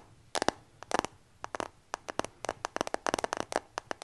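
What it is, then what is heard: Glass and metal smartphone tapped with nails. Fingertips and nails tap rapidly on the glass back and metal frame of a new dark iPhone held in both hands close to the mic. The result is quick bursts of short, dry, crisp clicks with almost no low end and no ringing.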